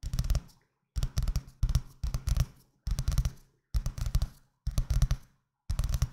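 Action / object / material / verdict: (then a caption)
tap / paper-covered paperback book / paper / none. Fingertips with painted nails tap and scratch the paper cover of a medium-sized green paperback book, which is held in both hands close to the microphone. Quick bursts of dull, low-heavy taps and scratches follow one another with short silent gaps between them, each sound dying away almost at once.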